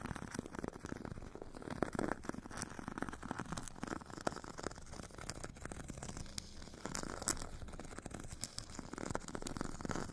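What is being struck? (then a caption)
Foam foot file with abrasive grit surface, scratched with a metal tip. A metal stick tip scratches the purple abrasive grit layer of a solid, hand-held foot file with a white foam core. The result is a quiet, continuous, dry rasping, with dense short scratches and occasional sharper bright ticks, weighted toward the low and middle range.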